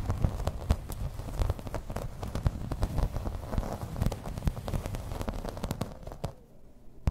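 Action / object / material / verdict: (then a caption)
tap / plastic placemat / plastic / none. Long red-painted nails tap and scratch across a thin, solid, flat grey plastic placemat with raised floral embossing lying on a table. A dense stream of quick, dry taps and rough scratches sounds mostly low and thuddy with little ring. Near the end the activity thins out, leaving a quiet stretch before one last sharp tap.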